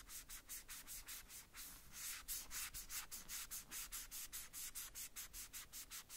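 A white cloth or wipe wrapped over the fingertips rubs and wipes the small, hollow red plastic cowboy boots of a Woody doll held in the hand. About 24 quick, brushy rubbing strokes come in a steady back-and-forth rhythm, each one a soft, bright hiss of cloth on plastic with little low end.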